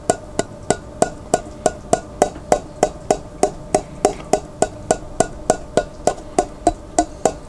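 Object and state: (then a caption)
Glass jar with plastic lid, partly filled with water. Fingertips tap the rim and face of the white plastic lid on a large clear glass pickle jar, held sideways and partly filled with water. The 26 quick, dry taps come at a steady, slightly uneven pace, each a short hollow knock pitched near 600 Hz with a bright click on top. Each one dies away almost at once.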